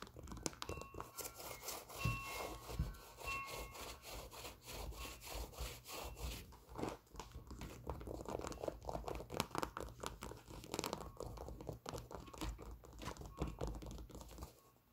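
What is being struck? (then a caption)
Leather sneaker. Long nails tap and scratch the leather side panel of a white leather Nike Air Force 1 sneaker held close. The result is dense, rapid clicking taps mixed with dry, scratchy rubbing over a low, soft rumble.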